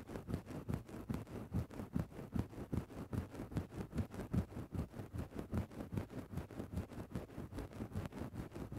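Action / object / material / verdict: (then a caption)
scrape / synthetic-fur microphone windscreen / synthetic fur / none. A thin bamboo stick scratches and pokes into a grey synthetic-fur microphone windscreen. It makes a steady run of about 23 soft, muffled, low-pitched rustling strokes at a fairly even rhythm, with almost no bright highs. Each stroke is short and dry, with no ring after it.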